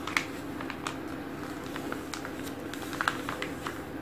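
Fingertips and short painted nails quickly rub and trace the thin, solid pages of an open glossy paper magazine lying flat on a wooden table, with some page flipping. Quiet scratchy swipes and bright little ticks rise over a steady, soft hiss.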